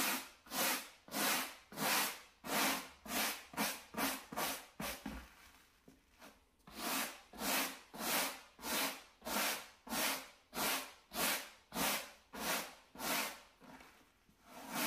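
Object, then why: Low-pile carpet door mat scrubbed with a bristle brush. A gloved hand scrubs a small square beige low-pile carpet door mat, lying solid and flat on a wood-look floor, with a wooden-backed natural-bristle brush. Steady back-and-forth strokes, about one and a half per second, make bright, hissy scratching with a brief lull partway through before the rhythm resumes.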